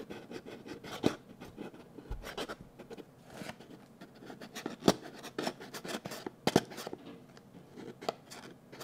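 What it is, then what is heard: Cardboard box scratched with fingernails. A small, hollow, blue printed cardboard box is held in both hands and scratched with fingernails. It makes a steady dry scratching and rubbing texture, with occasional sharper, brighter clicks standing out from the soft rasp.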